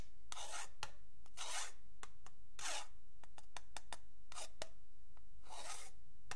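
A metal pen tip scrapes along the marked edge of a long, flat, solid wooden yardstick while fingertips rest on it. Bright, raspy scraping strokes alternate with sharp, dry ticks and taps at an uneven pace, set against a low, steady background hum.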